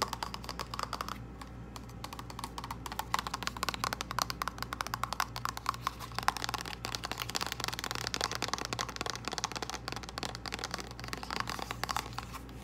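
Long acrylic nails tap rapidly on a small, hollow, flat purple printed cardboard false lash box, making a dense, continuous stream of crisp, light clicks that ring only briefly. A faint steady low hum runs underneath.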